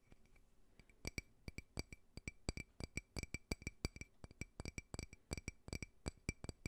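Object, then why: Faceted glass drinking tumbler. A small, clear, faceted drinking glass, hollow and empty, is held sideways close to the microphone and tapped and scratched with fingernails. A quiet, irregular run of sharp, short clinks carries a bright glassy ping with high overtones. Faint scratching fills the gaps, and each tap dies away almost instantly.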